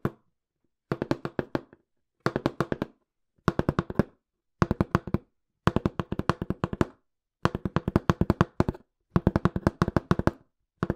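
Fingertips tap quickly on a small, hollow, empty-looking brown corrugated cardboard box, in short bursts of rapid taps separated by brief pauses. Each tap is a dull, low, hollow thud that dies away almost instantly.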